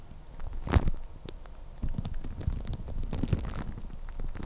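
Long red-painted nails scratch and crinkle thin clear plastic cling film wrapped around the head of a microphone. Soft crackling, rustling scratches sit over a deep, muffled rumble, with louder crinkly bursts early on and again near the end.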